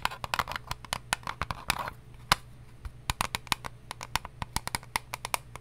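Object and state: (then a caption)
Eyelash case. An eyelash case is tapped in quick, irregular bursts of fingertip-style taps, dense at first and then more spaced out. Each tap is a short, dry click centred near 1 kHz with bright upper edges and almost no ring. A faint steady low hum sits underneath.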